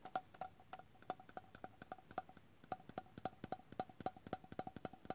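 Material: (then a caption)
Metal. A small, round, hollow red printed metal tin with a googly-eye design and a lid is held in the hands and tapped with the fingertips and nails. About 31 quick, bright taps come in an uneven rhythm over five seconds. Each tap is a short hollow tonk around 750 Hz with a sharp high click, and it dies away almost at once.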